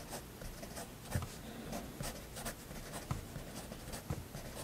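A fineliner pen draws slow, steady strokes on a flat white paper sketchbook page, its nib rubbing across the paper in soft, scratchy passes. The quiet scratching comes in short bright bursts, with three low soft taps standing out over a faint steady hiss.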